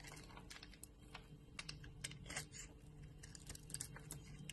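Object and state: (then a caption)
Bar soap carved with a blade. A metal blade scrapes and carves crumbly flakes off a hand-sized, solid white bar of soap with a yellow rind, held in the hand. Quiet, rapid, crisp scraping and clicking bursts rise into a bright hiss over a steady low hum. Each cut snaps off short and dry, with almost no ring.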